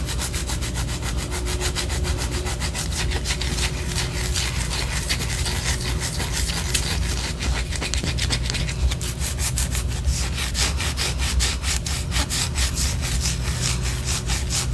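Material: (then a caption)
Wax. Long orange acrylic nails scratch a large white solid wax pillar candle held up close. A steady, continuous run of rapid, bright scratching strokes sits over a constant low hum, with the strokes growing denser and crisper in the second half.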